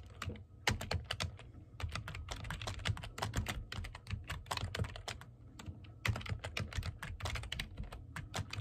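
Fingertips with medium-length painted nails type on a full-size black plastic computer keyboard with hollow key caps, seen from desk level. The result is a steady, rapid stream of short, clacky keystrokes with a low, hollow thud beneath bright clicks, each dying away almost instantly.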